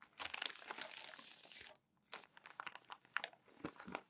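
Hands crumple and fold over thin matte newsprint newspaper sheets on a white desk. A dense, bright crackling rustle fills the first second and a half, then after a brief pause the paper gives off scattered sharp crinkles and crunches. There is almost no low end.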